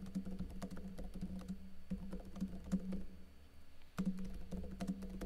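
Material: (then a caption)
Plastic. Fingertips with short blue-painted nails type rapid key taps on a backlit plastic laptop keyboard with hollow keycaps. The taps are quick, dull, low clicks that die away almost at once, over a steady low hum. The typing eases briefly in the middle before picking up again.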